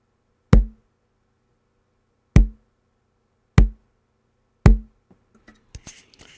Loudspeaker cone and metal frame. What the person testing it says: some of it is the frame of the speaker ringing. The lower note that you're hearing, though, is the actual cone of the speaker vibrating.